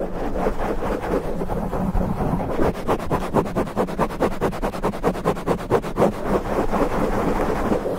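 Fingertips of both hands scratch the porous black foam windscreen covering a microphone head. The result is a steady, muffled, rumbling scratch that turns into a fast run of rhythmic rasping strokes midway, then settles back into continuous rubbing, with almost no bright high end.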